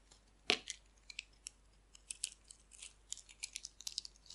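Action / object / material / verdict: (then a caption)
scrape / bar of soap shaved with a metal blade / soap / none. A solid purple-pink striped bar of dry soap, held in the hand, is shaved with a metal blade, sending chips falling off. About sixteen quiet, bright, crisp scraping clicks come in an irregular run, the first one the sharpest and loudest. Each one cuts off almost instantly with no ring.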